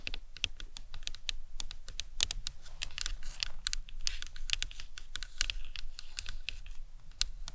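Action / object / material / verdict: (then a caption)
tap / plastic anatomical skull model / plastic / none. Long fingernails tap and scratch across the dome of a hollow plastic anatomical skull model, on the top of the cranium where the sutures are visible. A rapid, uneven series of short, bright clicks with very little ring is heard over a low, soft rumble.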